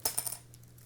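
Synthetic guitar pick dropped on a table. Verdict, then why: Dark. A dark, low-resonance guitar pick made of a proprietary man-made material is thrown down onto a table. It lands with a few quick, bright clicking bounces that die away fast. Its sound is fairly normal, less bright than lighter picks.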